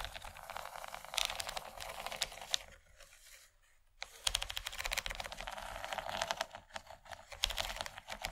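Long nails tap and scratch across the surface and raised ridges of a large, empty yellow plastic tray with a corn-cob relief pattern. The result is rapid, bright, dry clicking and rasping centered around 3.2 kHz, with almost no ring. The tapping briefly fades to near silence around the middle before resuming.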